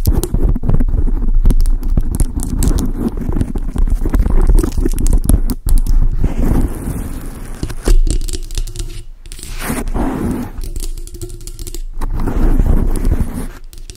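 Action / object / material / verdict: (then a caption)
scrape / foam microphone windscreen / foam / none. Long acrylic nails and fingertips scratch and tap on a large, dark grey, soft, porous foam windscreen fitted over a microphone. The result is a dense, steady stream of deep, muffled rumbling and crackly scraping, heavy in the low end with almost no bright content. It swells and dips only slightly in loudness throughout.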